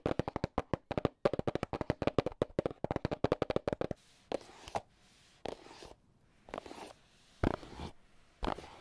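AA battery tips worn on the fingers tap rapidly on a small, hollow red and black cardboard box, making a quick run of dry, hollow knocks with a low-mid body for about four seconds. The tapping then gives way to sparser, longer scratchy strokes with a brighter hiss, separated by short pauses.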